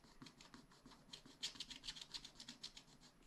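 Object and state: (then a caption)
Scratch-art paper being scratched. A wooden stylus scratches a black wax-coated scratch-art sheet in a spiral-bound pad. Quiet, bright, rasping strokes repeat in a loose, uneven rhythm, growing a little louder and sharper midway. Each stroke ends quickly with almost no ring.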